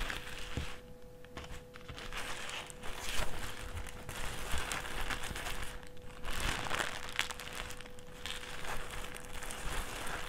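A thin, empty white plastic trash bag with handles is unfolded, lifted, folded flat on a table and crinkled with the fingers. Dense, dry crinkling and crackling rises and falls in bursts over a faint steady mid tone. The bright rustles stop short with almost no ring.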